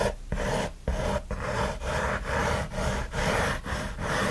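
Fingertips and nails scratch quickly and roughly across the lid near the front edge of a closed, hollow kraft corrugated cardboard mailer box. Repeated rasping strokes come in a steady back-and-forth rhythm, each with a short pause between them. The sound is dry and papery, with a hollow low body and little high brightness.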